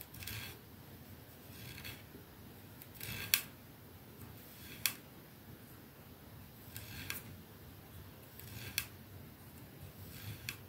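Long fingernails of both hands scratch the silver band and glass end of a capsule-shaped glass perfume bottle resting on a dark surface. Quiet, bright scraping swells are broken by about eight sharp, short clicks at irregular intervals, with no ring after each one.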